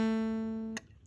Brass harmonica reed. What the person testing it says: it's not a clear ring